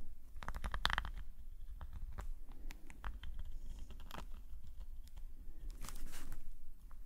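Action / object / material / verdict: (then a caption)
scrape / metal nib pen on paper sketchbook page / paper / none. A metal nib pen scratches fine strokes across a black paper sketchbook page lying flat. Short, dry scratching strokes come in quick bursts over a steady low rumble, with soft crinkly textures in between.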